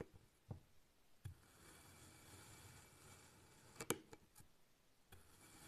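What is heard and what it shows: A large black kitchen knife slices thin pieces off a small solid rectangular block of pink kinetic sand resting on a white surface. Four short, crisp cuts stand out, with soft, grainy scraping and crumbling between them at a quiet level.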